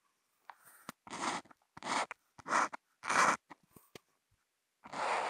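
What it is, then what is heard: Marker tip scratching Kent paper. A Posca marker tip scratches flat white Kent paper in short lines, hash marks and rectangles, picked up by a contact mic on the marker. Five longer, broadband scratchy strokes stand out, separated by sharp short ticks and silences, with a dry, close sound and little ring.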